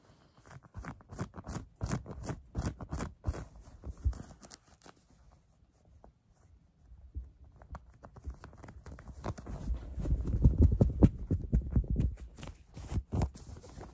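Long nails scratch the chest of a worn lavender cotton fleece hoodie with embroidered lettering, making quick, irregular, dry scuffing strokes with a dull, low-heavy texture. The scratching eases into near silence around the middle, then returns denser and louder, peaking near the end before tapering slightly.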